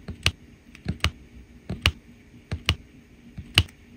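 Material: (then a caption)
Resin. A plastic drill pen with a metal tip presses small faceted resin drills one by one onto a flat adhesive diamond painting canvas. Seven light, short taps and clicks are heard, each with a low thump and a bright click that dies away almost at once.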